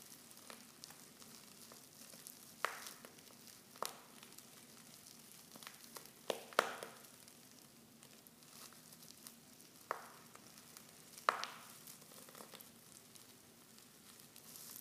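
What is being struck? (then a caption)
Foil tea pouch with loose tea leaves. Fingers with long nails crinkle a silver foil Pickwick tea pouch that is half full of loose tea leaves and open at the top. A quiet, steady crinkling rustle runs throughout, broken by five sharper, brighter crackles that stand out clearly above it.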